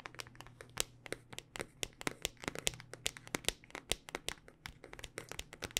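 A handheld smartphone in a solid black rugged hard-plastic case with a ridged back is tapped and scratched with long dark-painted nails. About 34 quick, dry, bright clicks and ticks come in an uneven, rapid rhythm, with crackly scratching between them and a faint low steady hum underneath. Each tap stops almost instantly, with no ring.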